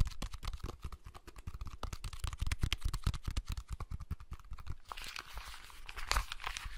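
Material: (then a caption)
Plastic. Fingertips and nails tap, press and scratch the shell and buttons of a small hollow blue plastic clamshell handheld game console in the Game Boy Advance SP style, held in both hands close to the mic. A rapid run of dull, low, hollow plastic taps and clicks fills most of the clip. It then gives way to brighter, hissy scratching with a few sharp clicks near the end.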